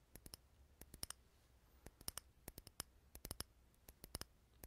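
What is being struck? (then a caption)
Wax-filled glass candle jar. Fingernails tap the glass of a small clear jar filled with solid, unlit green wax, held in the hand. Twenty-two quiet, sharp, bright clicks come in irregular bursts, each with a faint glassy ring that dies away almost at once. A low steady hum runs underneath.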